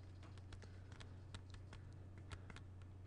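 Fingertips tap the edge and cover of a closed plastic CD jewel case tilted sideways, making a quick run of light, crisp clicks. A steady low hum sits underneath the quiet tapping.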